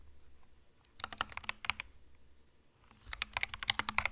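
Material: Plastic.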